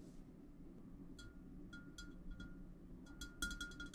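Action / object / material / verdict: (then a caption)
tap / large clear glass vase / glass / none. Fingertips from both hands tap and stroke the sides of a large, clear, empty and hollow glass vase standing on a table. Light taps bring out a clear glassy ring near 1.4 kHz with bright overtones, set over a soft low background rumble. The taps come faster and louder toward the end.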